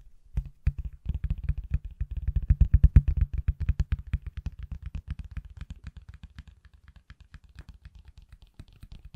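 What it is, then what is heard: Silicone phone case tapped with fingertips. A pale green silicone/plastic case on an iPhone, hand-sized and solid, is held in one hand and tapped with the fingertips of the other. About 64 quick, dull, low thuds come in an uneven patter with almost no ring. They build to their loudest near the three-second mark, then soften toward the end.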